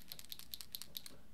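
A nearly empty pen ink cartridge is shaken so the small metal ball bearing inside slides back and forth, the bearing that keeps the ink flowing. About six quick, faint, high-pitched ticks are heard over a low background hum as the bearing hits the cartridge, which is working as intended.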